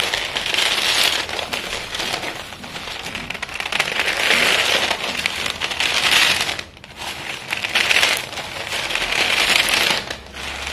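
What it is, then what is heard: Pieces of school chalk being crushed. Both hands with chalk-dusted fingertips grab, squeeze and crumble a pile of small solid white school chalk stick pieces resting on a silver foil paper plate. Dense, bright crackling crunches come in repeated swells as the chalk breaks apart, with a brief lull near the middle and a possible faint foil crinkle.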